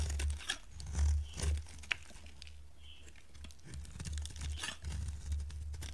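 A pink solid bar of dry soap held in the hand is shaved with a metal utility blade. Soft, dry scraping and crinkly crunching strokes sound over a low rumble, with occasional brief bright clicks.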